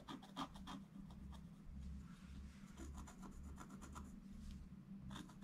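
A wooden stylus scratches repeated strokes across a flat, black-coated scratch art page. Each stroke is a short, dry, raspy scrape with bright edges, heard as quick bursts over a steady low hum.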